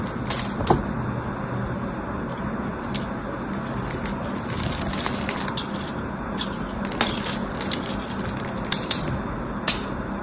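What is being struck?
Soap bar cut with a blade.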